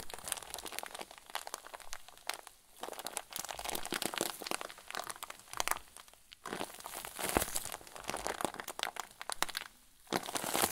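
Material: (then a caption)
Plastic. A hand-sized clear plastic zip bag full of white fluffy filling is squeezed and crumpled with both hands over a wooden table. It makes dense, bright crinkling and crunching that runs almost nonstop, with brief quiet gaps near 2.7, 6.4 and 10 seconds.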